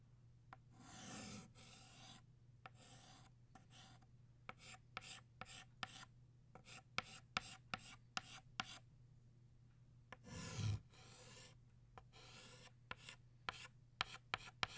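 A green chalk stick scratches across a flat black chalkboard, drawing leaves. Several longer, bright rasping scrapes are broken up by many short, sharp ticks and taps of the chalk, over a faint, steady low hum.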